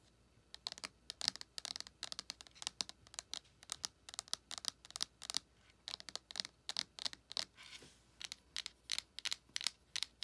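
Long acrylic nails tap and scratch the front of a small, flat, closed printed cardboard eyeshadow palette with a Star Wars Mandalorian design and a raised embossed face. The clip is a dense run of quick, dry, bright clicks and brief scratches with almost no low end. Each hit dies away instantly against a quiet background.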